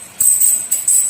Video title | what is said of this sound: STEP BY STEP!! CERITA DIBALIK MESIN ROAD RACE SLEEP ENGINE 4 TAK - JUPITER 130CC TUNE UP MP4 | Jika bunyinya nyaring melengking, pasti pistonnya keras.